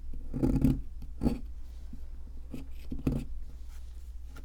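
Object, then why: Plaster excavation block scraped with a metal chisel. A metal chisel scratches and scrapes the surface of a solid white plaster fossil excavation block. It makes short, dull, gritty scraping bursts, heavy in the low end, over a steady low background hum.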